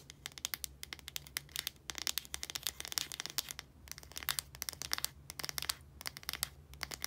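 Long nails scratch and tap the blue casing and translucent cap of a small plastic deodorant stick held in both hands. The result is a dense run of rapid, dry, bright clicks and scratchy rasps with almost no ring, over a faint steady low hum.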